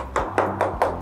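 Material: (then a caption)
Ceramic. Four short taps on a ceramic balcony floor tile, checked for hollowness, give dull midrange knocks with a brief ring over a steady low hum. The tile sounds hollow, unlike a firmly bedded one, and its joints are not properly filled.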